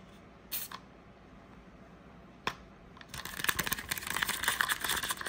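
Long nails tap and scratch the small, hollow beige plastic cap of a Febreze spray can held close up. A few sharp, isolated clicks in the first half give way at around three seconds to a fast, dense flurry of dry, bright tapping and scratching that continues to the end.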